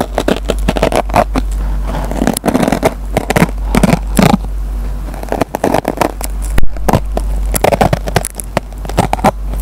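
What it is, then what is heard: Dry nylon scouring pad being scratched. The metal tip of a pen picks and scratches at the fibers of a dry kitchen sponge with a green nylon scouring layer. The result is a dense series of short, crackly scrapes and snaps, mostly low and mid toned, over a steady low hum.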